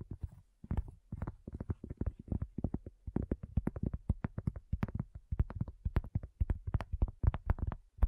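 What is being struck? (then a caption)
Cork coaster. A round, thin, solid cork coaster resting on a table is tapped and scratched with long nails. The result is a rapid, uneven stream of short, dry, dull thumps, mostly low in tone, each with a faint clicky edge and almost no ring.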